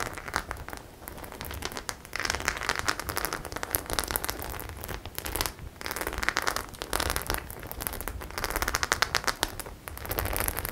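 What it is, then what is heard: Studded faux leather clutch bag. Long nails scratch and rub the studs on a flat white studded faux leather clutch bag. The result is a dense, crackly scratching with bright, rapid clicks that come in uneven bursts and short pauses throughout.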